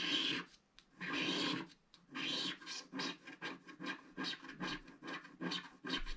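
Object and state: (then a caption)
Scratch-art card being scraped. A wooden stick scratches the black coating near the right edge of a flat, solid scratch-art card page. A few long, dry rasping strokes give way to a run of shorter, quicker scrapes, each with a bright, papery hiss.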